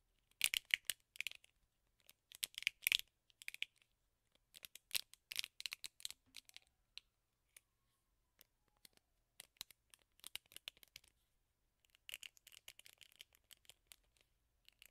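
Fingernails scratch across the bristle side and the handle of a teal plastic hairbrush with a black rubber bristle pad. Quiet bursts of bright, dry, crackling scratches come in clusters separated by short pauses, with no low-end body and no ring after each stroke.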